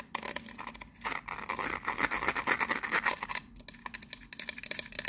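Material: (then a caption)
Metal. Long nails scratch and tap quickly on a teal metal lid with raised rings and a gold emblem, set on a hollow biscuit tin. Dense, bright clicks and raspy scrapes build into a louder stretch of scratching with a thin metallic ring in the middle. The sound then drops back to quieter, scattered taps.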